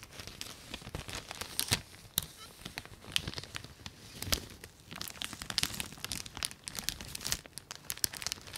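Long nails and fingertips rub and crinkle a clear plastic packaging bag with a white label, holding a folded red textile and held flat close to the mic. Dense, bright crackling and sharp crinkling snaps come in quick bursts, with a soft rustling hiss between them and very little low end.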